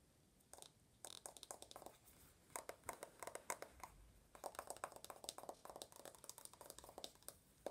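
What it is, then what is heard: Aluminum smartphone back. Long nails tap fast on the aluminum back and edges of an uncased, rose-gold iPhone held upright. The result is quiet, rapid bursts of short, bright clicks that die away almost instantly, with a dry, hard ring around 1 kHz and brief pauses between the flurries.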